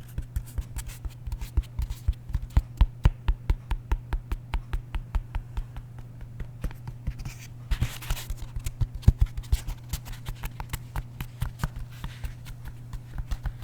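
A foam roller, used for rolling the back, is tapped over and over in a quick, uneven series of short, dull taps with almost no ring. A brief scratchy scrape comes partway through, over a steady low hum.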